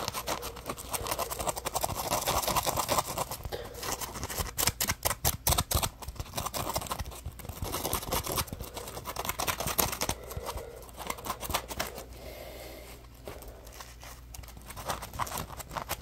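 Fingers and nails squeeze and scratch a palm-sized, solid yellow polymer foam Scrub Daddy sponge with a ridged top. Dense, rapid scratchy rasps and crackling squeaks come in bursts, with a busier flurry of sharp ticks in the middle and a quieter stretch near the end. A faint steady low hum runs underneath.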